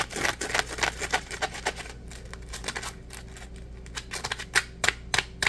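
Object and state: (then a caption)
Dry polymer foam scrub sponge. A dry, palm-sized yellow Scrub Daddy polymer foam sponge, porous and solid, is held in both hands and scratched and squeezed with fingertips and nails. Rapid, crisp, bright scratching bursts come in an uneven rhythm, thinning to a quieter stretch before several sharper, louder scrapes near the end.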